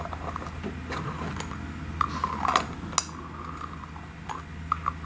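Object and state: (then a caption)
Glass cream jar with metal lid. Long nails twist and tap the gold metallic screw lid and the glass of a small, thick, clear glass cream jar. Light, sharp clicks with a brief ringing tone around 1.1 kHz sound over a steady low hum.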